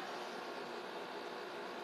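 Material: Nothing is struck.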